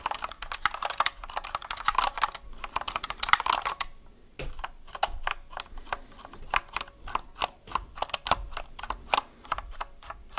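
Fingertips press and tap the keys of a compact white plastic mechanical keyboard held close to the microphone. For the first few seconds, a dense run of quick, bright clacks blurs together. The taps then spread out into separate, crisp clicks with very short decay.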